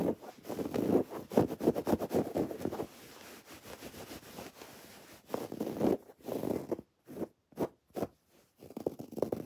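Long dark-painted nails scratch a soft, stuffed teal throw pillow of textured woven fabric with raised white cord embroidery lettering. Dry, rasping scratch strokes come in quick, irregular bursts, full in the low-mids with a faint high hiss. A quieter, steady rub in the middle gives way to short, separated scratches with brief silences between them.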